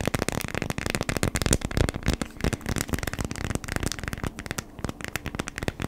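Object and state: Beeswax-coated cotton food wrap.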